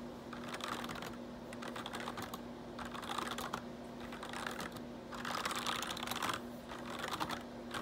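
Fingertips type and tap rapidly on the hollow plastic keycaps of a full-size black plastic computer keyboard with a changing RGB backlight, set on a solid-feeling base. The result is a dense stream of quick, bright clicks in uneven bursts, over a faint steady hum near 240 Hz.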